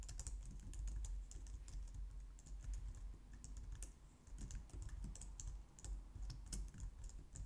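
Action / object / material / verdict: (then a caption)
tap / plastic low-profile keyboard / plastic / none. Both hands type on a white plastic low-profile wireless keyboard, with long painted nails and fingertips striking the keys. The result is a steady run of quick, bright plastic clicks and clacks over a low, soft rumble.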